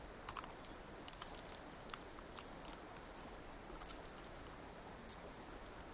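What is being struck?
Small plastic gear puzzle cube.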